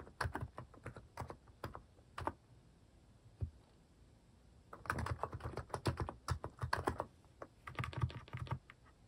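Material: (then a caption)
Plastic. A white-case plastic mechanical keyboard with pastel plastic cat-shaped keycaps is typed on with fingertips. Bursts of short, dry, clicky keystrokes come in quick runs, with a pause in the middle. The thock sits low with a faint bright edge, and each keystroke dies away almost instantly.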